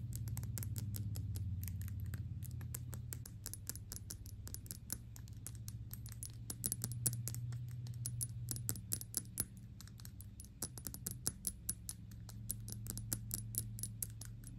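Long pink nails fast-tap the front face of a medium-sized Gucci Intense Oud perfume bottle made of thick dark glass and filled with liquid. Quick, irregular, bright clicks patter over a steady low hum, each tap dying away almost at once.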